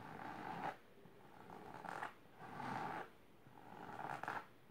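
Long silver nails scratch fast across a large pink patterned fabric-covered box or ottoman. Four quick bursts of dry, rasping scratching are separated by brief quiet pauses, with a raspy texture centered in the mids around 760 Hz.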